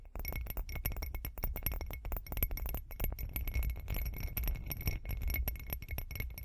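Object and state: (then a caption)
Textured glass cup. Long acrylic nails tap and click rapidly on a hand-sized, hollow, bumpy glitter glass cup. The result is a dense stream of short, bright clinks over a low, steady rumble, with faint high tones ringing briefly across the taps.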